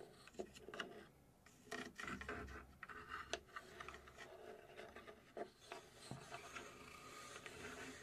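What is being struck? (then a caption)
Thin plywood box panel. Long nails scratch along the side and top of a small hollow laser-cut plywood puzzle safe box with finger-jointed panels. Quiet, dry rubbing and rasping fills the clip, broken by many short, sharp scrapes with bright edges and almost no ring.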